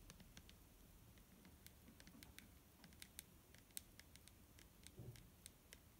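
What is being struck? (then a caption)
Liquid-filled plastic bottle. Fingernails tap a clear plastic micellar water bottle filled with liquid. The quick, light clicks are bright and ticking, and they die away almost instantly. Soft low-end rumble sits underneath, with one slightly heavier, duller tap near the end.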